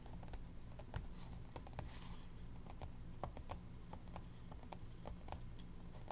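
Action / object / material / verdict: tap / paper planner pages tapped with fingernails / paper / none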